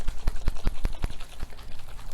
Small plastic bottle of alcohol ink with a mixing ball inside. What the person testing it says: you want to shake it till you hear the ball